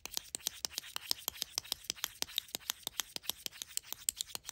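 Long acrylic nails tap and scratch a tiny Mini Brands Lunchables pizza pack held in the hand, a flat, hollow, rigid plastic tray with a printed label top a few centimetres across. It gives a quick run of about 30 dry, bright clicks with almost no low end, each dying away at once, with faint scratching between them.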